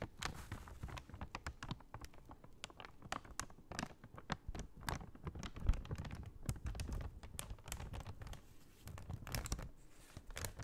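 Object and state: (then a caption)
Paper bag being handled and tapped. A large, empty brown kraft paper shopping bag is folded and unfolded in the hands while long nails tap on it. Quiet, dense crinkling and crackling fill the clip, broken by many sharp, dry taps that stop almost instantly. There is a soft low rumble beneath.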